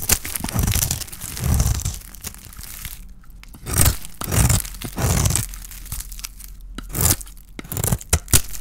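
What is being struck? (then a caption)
Bar soap with a painted coating, scraped by a metal blade. A small metal blade scrapes a palm-sized, solid oval bar of dry white soap with a pink painted shell, held in the hand, shaving off soap curls. Dry, crisp tearing and crunching scrapes come in bursts with bright, hissy edges over a low, muffled body. Quiet pauses fall between strokes.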